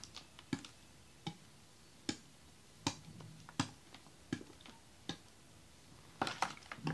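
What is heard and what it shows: A large clear, ribbed plastic water bottle with a red cap, holding icy, partly frozen water, is held in both hands and shaken. Sharp, bright knocks of ice striking the plastic come at an irregular pace, roughly every three-quarters of a second, with faint sloshing between them. A quicker flurry of knocks closes the clip.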